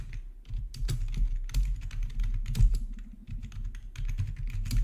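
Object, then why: Plastic membrane computer keyboard. Both hands type with their fingertips on the black plastic backlit keycaps of a plastic RGB membrane keyboard resting on a marble surface. The key presses come in a rapid, continuous stream of soft, short, deep thuds with almost no bright click.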